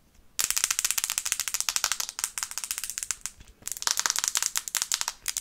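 Long red-painted nails tap fast on the glass screen of a small, flat, solid black smartphone held in both hands. The result is a rapid run of sharp, bright clicks with no low end and almost no ring. The tapping pauses briefly twice before picking back up.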